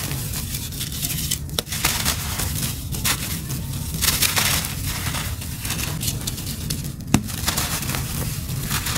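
A fist-sized, solid, powdery grey chunk of dry cement is held in both bare hands over a pile of loose cement dust, squeezed and rubbed by the fingertips. It gives a steady gritty crunching and crackling with bright, sandy texture and a few sharper snaps. The chunk breaks apart and crumbles into grit and powder.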